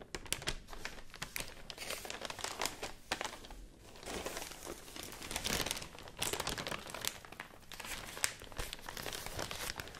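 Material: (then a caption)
Paper. A large, thin, white, fibrous rice paper sheet is shaken and crinkled by hand, then folded and rubbed with fingertips. It makes dense, bright, crackling crinkles in rising and falling waves, with a few sharper snaps.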